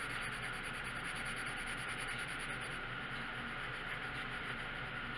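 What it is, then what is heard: Colored pencil shading on a paper page. A red colored pencil tip scratches and rubs steadily across a thin paper coloring book page resting on a wooden table while shading in a stop sign. The result is a continuous, even, scratchy hiss with a bright, papery edge and a faint steady tone near 1.4 kHz. There are no separate strokes, and the upper brightness eases slightly partway through.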